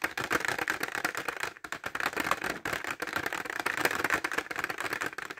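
A clear plastic pencil case filled with pencils, held horizontally, is tapped quickly with short fingernails. The result is a dense run of crisp, clicky plastic taps, bright and centered around 1.6 kHz, with almost no low end, very short decays and a faint rattle from the pencils inside.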